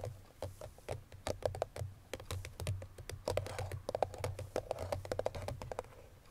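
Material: Cardboard.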